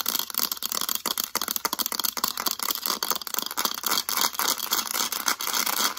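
The back of a mint-green hard plastic calculator is tapped and scratched fast with long acrylic nails. Dense, bright clicks and dry scratching run together with almost no low end, and each tap dies away almost instantly.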